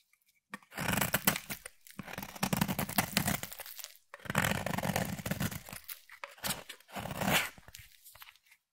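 A utility knife blade shaves and scrapes the surface of a solid cream rectangular bar of soap. The result is a series of dry, crunchy, tearing scrapes in long passes with short pauses between them, with a soft low body and a bright, gritty top.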